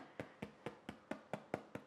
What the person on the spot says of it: if you tap the base of your Loaf and it sounds Hollow that is a way to know whether or not your loaf is baked